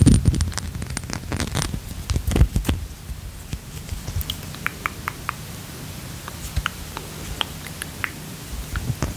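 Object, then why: Glass perfume bottle. A small, square, dark-teal Versace Eros glass perfume bottle with its cap, solid-walled, is held in both hands while short-nailed fingertips tap and handle it. The first few seconds are a dense, low, rustling clatter of handling. It then gives way to sparse, quieter, bright little clicks that die away almost instantly.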